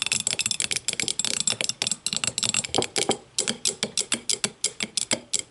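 An empty clear glass tumbler sits upside down on a table and is tapped rapidly with the long matte nails of both hands. The result is a quick, uneven stream of sharp, bright clicks and ticks, each dying away almost instantly, with little low-end body.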